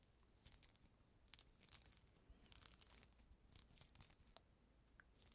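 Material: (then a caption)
Fruit peel. A small, solid, whole mandarin orange with its peel removed is held right at the microphone while fingertips and nails scratch and peel the white pith and membrane from its surface. Soft, bright tearing and crinkling scrapes come in quick bursts over a quiet background, with little low-end body.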